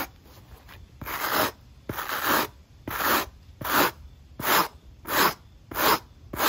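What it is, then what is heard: Rubber sneaker sole being scrubbed. A black and white running shoe is held in hand with its patterned rubber outsole facing up and scrubbed back and forth with a wooden-handled steel wire brush. Eight rough, bright scratching strokes sweep across the sole at an uneven pace, with short quiet gaps between them.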